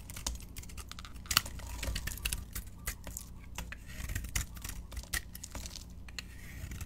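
A solid yellow soap bar with a pink butterfly-decorated coating, held in the palm, is shaved and scraped with a metal utility knife blade. Quick, dry, crackling scrapes and sharp ticks follow one another in an irregular stream, with bright rasping texture over a low background rumble. Each stroke cuts off almost instantly with no ring.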